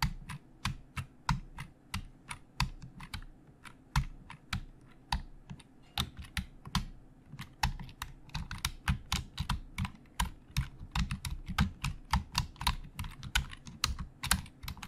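Fingertips of both hands type on the hollow plastic keys of a black plastic Logitech full-size keyboard resting on a desk. A steady, uneven stream of short, crisp clicks with bright tops and hollow low thuds comes in quick bursts and brief pauses. Each keystroke dies almost instantly over a faint low hum.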